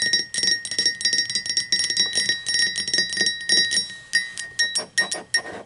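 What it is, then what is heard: Ceramic mug. Long pointed green acrylic nails tap and scratch the sides of an upright, hollow, apparently empty blue speckled glazed ceramic coffee mug. About two dozen quick, bright clicks follow each other, each leaving a short ringing tone near 2 kHz with high overtones. Softer scraping fills the gaps as the taps speed up and slow down.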